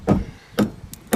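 A timber sill beam in a Grade II listed timber-frame building is tapped four times at its joint with a vertical post. The taps are short, dull knocks with a low, woody pitch that die away almost at once. The beam sounds fairly solid.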